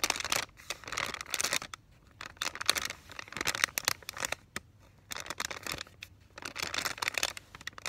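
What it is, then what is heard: Paper and plastic sterile peel pouch, crinkled. Fingertips press, rub and lightly scratch across a flat, mostly empty paper and plastic film sterile peel pouch for Vaseline gauze, about 25 cm long, and flex it to crinkle. Bursts of dry, bright crinkling and fine scratching come in clustered waves, separated by brief near-silent pauses, with almost no low end.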